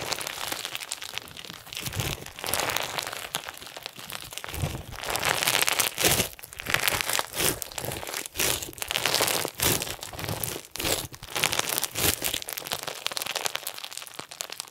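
A hand-sized lump of clear, soft and solid crunchy slime packed with small round pink and white plastic sequins is stretched, folded and squeezed by bare hands with short nails. It gives a dense, bright run of crunching crinkles and crackles that swell and fade in bursts throughout.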